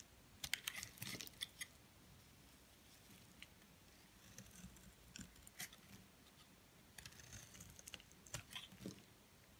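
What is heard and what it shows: A metal blade scrapes and cuts thin flakes off the end of a solid white soap bar held in the hand. Soft, bright, crisp scraping and crunching clicks come in short clusters, separated by quiet pauses.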